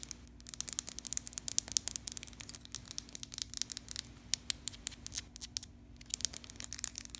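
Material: Glass.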